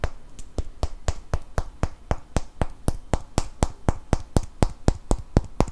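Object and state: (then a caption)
Cork wine stopper. Fingernails tap and scratch the surface of a small solid cork wine stopper held close to the mic. The result is a steady run of about 24 short, dry taps at roughly four per second, each with a low thump and a brief bright click that dies away almost instantly.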